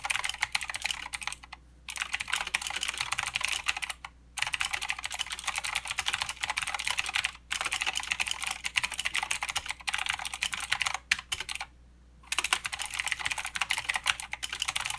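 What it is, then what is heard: Mechanical keyboard with plastic keycaps. Fingertip typing with both hands on a mechanical keyboard with plastic keycaps and clicky blue switches. Bursts of rapid, bright, sharp clicks run continuously, broken by a few brief pauses.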